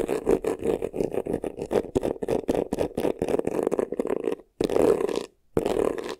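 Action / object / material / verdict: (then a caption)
scrape / textured faux leather vanity case / faux leather / none. Short nails rapidly scratch the textured front and top edge of a hollow, black crocodile-embossed faux leather vanity case. Quick, dry scraping strokes come in a steady rhythm with a midrange rasp, then turn into longer continuous scratches separated by two brief silences near the end.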